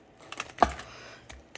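The crispy skin of baked chicken pieces, cooked for about 45 minutes, is tapped six times, giving short, dry, crackly clicks. The loudest tap comes early, and the others are fainter and spaced apart. The skin sounds crisp, and the chicken is perfectly cooked inside and juicy.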